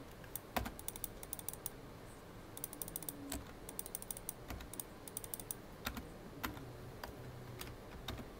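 Fingertips, mostly of the right hand, type and tap on the keys of a full-size black plastic computer keyboard. Quick, dry clicks come in irregular bursts and single taps over a soft, low background hum, each click short and bright and gone almost at once.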